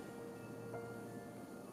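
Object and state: Nothing is struck.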